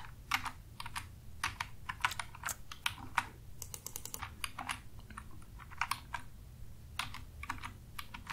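Fingertips with short nails tap rapidly on a black full-size plastic computer keyboard with a hollow housing and plastic keys, resting on a desk, after one hand is briefly raised at the start. Quick, bright, hollow clicks come in uneven bursts over a steady low rumble, each tap dying away almost instantly.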